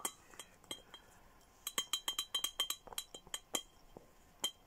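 A clear glass Hello Kitty milk-style bottle with a red plastic lid and straw, hollow with a few small items inside, is tapped with fingernails and handled. Bright, short glassy clinks and ticks ring near 3 kHz, coming in irregular quick bursts with quiet gaps between them.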